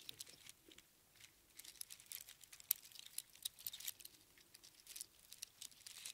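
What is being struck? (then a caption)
Small spiral seashells threaded on string. A large bunch of small, hollow, empty spiral sea snail shells threaded on string is scooped up and jostled in both hands. The shells clatter and crunch together in quick, dry, bright clicks with almost no low end, in uneven bursts separated by brief quieter pauses.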